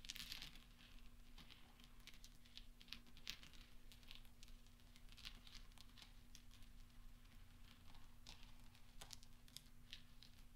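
A pile of small solid steel pachinko balls on black velvet cloth is rolled and clinked together with the fingertips of both hands. Dense, bright metallic clicks and rattles rise over a steady low hum.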